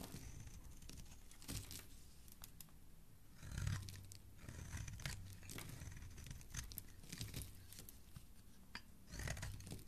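A hand with lilac-painted nails holds a hand-sized solid green bar of soap while a metal blade carves and scrapes shavings off its edge, and soap crumbs pile up below. Soft, dry tearing and crunching scrapes come in quiet, steady strokes over a low rumble, with louder bursts near 1.5, 3.7 and 9.3 seconds.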